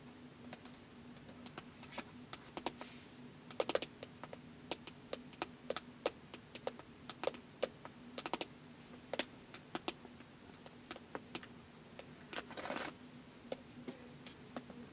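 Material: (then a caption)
Plastic. Fingertips tap the keys of a white plastic laptop keyboard and near its trackpad area, making dozens of short, dry, bright clicks at a slow, uneven pace. A faint steady hum sits underneath, and near the end there is a brief brushing burst.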